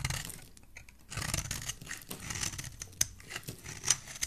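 A solid cream bar of soap, held in the hand, has its face and edges scraped with a metal utility blade. Dry, bright scraping and shaving strokes come in short bursts, with a few sharp high clicks as the blade catches. There is little low end, and each sound stops quickly with almost no ring.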